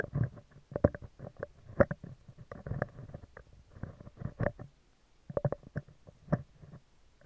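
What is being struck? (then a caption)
Steel wire-mesh microphone grille. Metal tweezers scratch a round, hollow steel wire-mesh microphone grille, first from below and then from the top. Close-up, irregular bursts of gritty scratching and rumbling are heavy in the low end, with a faint metallic tone near 570 Hz and very short decays between strokes.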